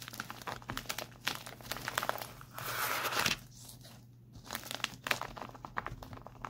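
Palms rub and fingertips tap and scratch across a white printed plastic instant cold pack lying on a lap. The result is bright crinkling with rapid light taps and scratches, and a longer, louder rushing rub in the middle before a brief quieter pause. A faint steady low hum sits underneath.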